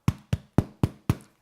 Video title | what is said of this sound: Basic Bread | give it a little tap. If it sounds hollow, then you know it's going to be perfectly cooked and ready to tuck in